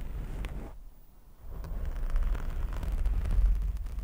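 Both hands scratch and rub a soft, porous black foam windscreen over a handheld microphone with fingertips and short nails. The result is a deep, muffled rumble of scraping and brushing, almost entirely low in pitch. It drops quiet for a moment near the one-second mark, then builds back into denser, louder rubbing.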